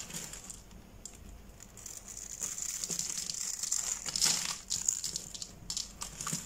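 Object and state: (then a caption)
Glitter-coated soap bar being crumbled. A hand-sized solid green soap bar with a glitter crust and a grid of pre-cut lines is held in one palm, with a blade partly visible, and is pressed and crumbled with the fingertips. Dense, irregular, bright crinkling and crunching crackles with a high, hissy edge swell into louder bursts near the end. Crumbled bits fall off the bar.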